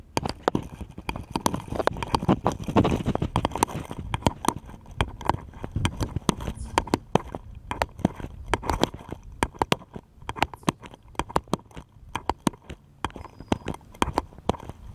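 A small, solid, unfinished wooden bottle-shaped cutout is held in both hands and tapped rapidly with fingertips and nails. It gives a fast, uneven stream of short, dry knocks and clicks that die away at once, with a dense flurry of overlapping taps around the third second. The sound is woody and low-mid, with sharp nail ticks on top.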